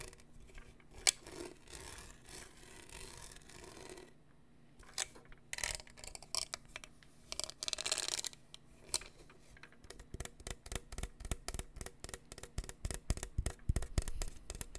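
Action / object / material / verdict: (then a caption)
scrape / plastic tumbler with studded surface / plastic / none. A hollow black studded plastic tumbler with a lid and straw, printed with "Class of 2022," is held close to the mic and rubbed and scratched along its studs with fingertips and nails. Soft, hissy rubbing swells come and go over the first eight seconds. From about ten seconds on, they give way to a quick, steady run of sharp, bright, dry scratches that stop dead with no ring.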